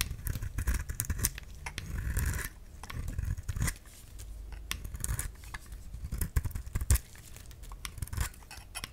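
A solid oval pink bar of soap held in the hand is shaved with a utility knife blade, making a run of dry, crisp scraping and cutting strokes. Sharp bright clicks ride over a dull low rumble, with the strokes rising and fading unevenly across the clip.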